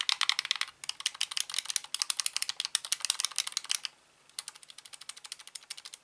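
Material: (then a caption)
Plastic. Fingertips tap and click the buttons of a hollow plastic Xbox controller lying on a rug. Rapid, bright, dry clicks come in a dense run, pause briefly, then resume at a slightly softer level. Each click stops almost instantly, with no low rumble.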